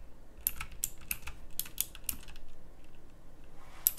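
Both hands with long nails type with their fingertips on a full-size backlit pink mechanical keyboard with round plastic typewriter-style keycaps on a pink case. Steady, bright, clicky key presses with short, sharp attacks come in an uneven rhythm over a low background hum.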